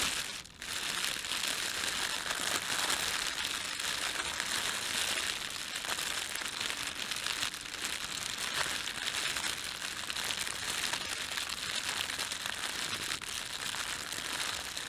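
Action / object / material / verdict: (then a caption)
scrape / thin plastic bread bag / thin plastic / none. Fingertips rub and press a thin, red-and-white printed plastic bakery bread bag. A dense, steady crinkling continues almost without pause, bright and hissy with very little low end. A brief dip comes just after the start.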